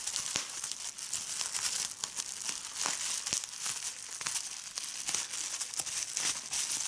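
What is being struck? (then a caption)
Plastic bubble wrap sheet. A large clear plastic bubble wrap sheet with air-filled bubbles is lifted and crumpled by fingers with red-painted nails. It gives a steady, bright crinkling broken by many sharp crackles, with almost no low end.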